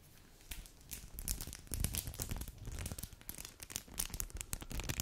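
A small, flat, empty or nearly empty foil-plastic snack wrapper is held in both white-gloved hands above the mic and crinkled and bent with gloved fingers. Dense, irregular crackling and crinkling is heard, with bright, sharp, high snaps over soft low handling thumps. The bursts come in quick clusters that rise and fall in loudness throughout.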